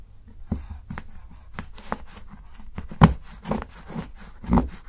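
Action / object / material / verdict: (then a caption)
scrape / dark chocolate bar and steel knife / chocolate / none. A steel kitchen knife shaves thin curls from the edge of a solid, segmented dark chocolate bar held down by fingertips. The result is a series of short, dull, low scraping and shaving strokes at an uneven pace, with a few louder cuts toward the end.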